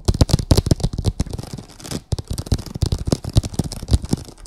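Long acrylic nails scratch across a printed vinyl oilcloth tablecloth on a table, making a rapid run of short, dry, low-pitched scrapes and taps. The strokes come in quick, uneven bursts with a brief pause near the two-second mark, and each dies away almost instantly.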